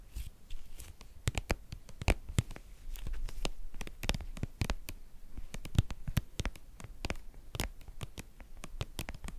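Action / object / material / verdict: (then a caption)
tap / soft plastic cream tube / soft plastic / none. A white, hollow, hand-sized soft plastic cream tube labelled "Sécheresses cutanées" is tapped and scratched with long painted nails. The result is a steady run of quick, dry clicks and taps that die away at once, mixed with brief scratching. The sound is mostly low and thuddy, with bright sharp edges on each tap.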